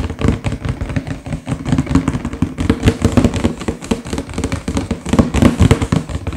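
Fingertips with short nails tap and drum rapidly on the front panel of a sealed, printed, medium-sized cardboard LEGO box that lies flat, hollow and full of pieces. The result is a dense, uneven patter of dull, hollow, low thumps with very short decay, centered around a low-mid tone near 234 Hz and carrying little high-end brightness.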